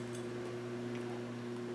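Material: Nothing is struck.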